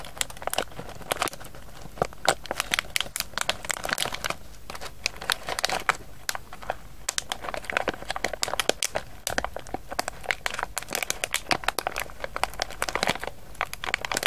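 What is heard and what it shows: A hand-sized, printed, foil-lined plastic pouch of pistachios, partly full of nuts, is held in both hands and crinkled and turned by the fingertips. A steady stream of dry, sharp crinkles and crackles runs through the whole clip, bright and short with almost no ring, with occasional louder crunchy peaks.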